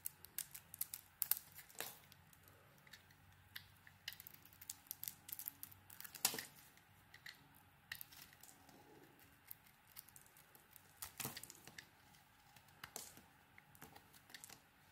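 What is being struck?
Bar of soap cut with a knife blade.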